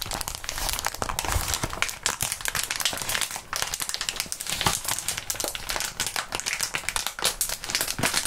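Gloved hands squeeze and crinkle a crumpled sheet of clear plastic bubble wrap. A dense, continuous bright crinkling runs the whole time, dotted with quick sharp crackles that die away almost instantly.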